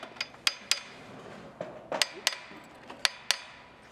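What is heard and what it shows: A hammer taps the steel bolts on reassembled roller coaster parts during a tap inspection, producing seven sharp, bright, high-pitched clinks that die away almost instantly. The dry, ringing-free sound indicates the bolts are properly tightened.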